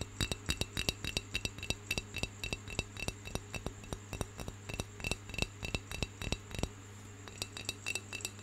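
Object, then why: Unglazed clay pencil holder. Fingernails tap and scratch the outer surface of a round, hollow, unglazed brown clay pencil holder held in one hand. Dozens of short, dry clicking taps come in an uneven rhythm, about three or four per second, with brief scratches between them. A steady low hum and a faint high tone run underneath throughout.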